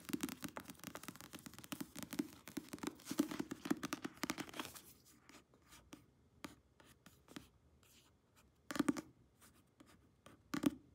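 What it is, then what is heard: Paperback book cover. Long nails tap and scratch the glossy paper front cover of a thick paperback novel held upright. Rapid, dense clicking and scratching fill the first five seconds, then thin out into scattered light taps. Two short scratchy bursts close the clip.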